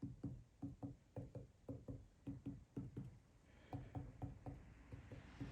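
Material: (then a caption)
Cast iron. Repeated tapping on a mating surface of a metal mill table during a mill rebuild gives short, dull, low knocks with almost no ring. The surface sounds hollow, meaning it is not contacting at those points, where an earlier print check showed only a small contact point.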